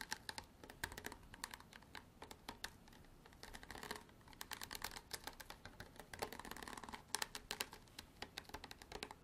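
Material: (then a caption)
Plastic. A hard plastic bottle is tapped and scratched with long artificial nails for ASMR. Quiet, rapid, bright clicks and short scratchy rubs come in uneven bursts, each tap dying away almost instantly.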